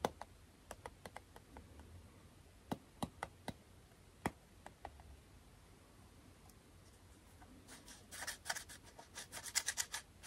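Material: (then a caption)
Aluminum. A small, round aluminum beard balm tin is held in both hands while its screw lid is twisted and rubbed with the fingers, producing metal-on-metal lid sounds. About nineteen sharp, bright ticks and clicks ring out over a soft, scratchy bed, ending in a denser burst of quick, bright scraping clicks.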